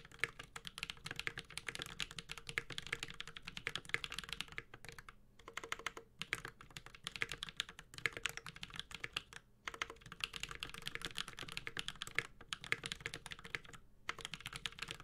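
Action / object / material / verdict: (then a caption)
tap / mechanical keyboard with plastic keycaps and metal case / plastic, metal / none. Continuous fingertip typing with both hands on a Space65 Cybervoyager 65% mechanical keyboard with a metal case, Holy Panda switches and ABS plastic keycaps. It makes a dense, steady stream of short, dry, bright clacks with a faint low thock beneath. Brief pauses break the typing at a few points.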